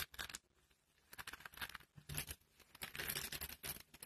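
Pink dry soap shavings are scooped up in cupped hands and crushed between the palms. The result is bursts of crisp, bright crunching and crackling, with short quiet gaps between squeezes.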